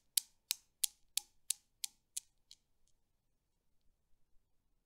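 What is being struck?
Steel balls of a Newton's cradle.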